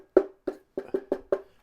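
Six taps on the plastic shell of an ORICO 2-bay hard drive enclosure, which looks like metal from a distance but is not. Each tap is a short, hollow knock centered near 380 Hz that dies away quickly, with a resonance that can make it sound metallic.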